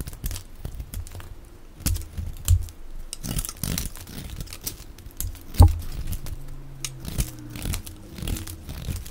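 A box-cutter blade scrapes and shaves the face and edge of a solid, dry, oval green soap bar held in the palm, cutting it into flakes. Irregular dry scraping and crunchy crinkling strokes repeat throughout, with brief bright crackles over a low, dull body. A few sharper cuts stand out louder than the rest.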